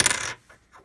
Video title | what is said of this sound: Half Dollar Boxes #116-119 - Silver Error Found!!? | when I drop it, listen to this. It just sounds dead.